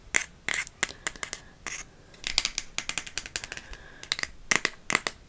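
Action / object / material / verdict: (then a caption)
tap / thin cardboard card holder / cardboard / none. A TK Maxx gift card in a thin red cardboard holder is scratched and tapped with long nails. The result is a quick run of many short, dry, bright clicks and crisp scratchy rustles with almost no low end and a sharp tone around 2 kHz.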